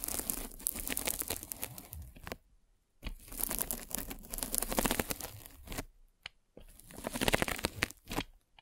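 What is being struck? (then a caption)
Polyethylene foam mesh net. A metal-spiked derma roller is rolled across a white polyethylene foam mesh net stretched over a microphone. It makes dense, bright crackling and crinkling that sounds almost like tearing. The sound comes in three rolling passes separated by short silences.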